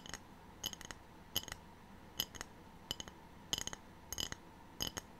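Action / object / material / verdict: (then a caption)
tap / ceramic tray / ceramic / none. A ceramic tray is tapped with no talking, giving short bursts of light, clinking, glassy taps at an uneven pace. Each tap is bright, with a main tone near 3 kHz and almost no ring, over a quiet background.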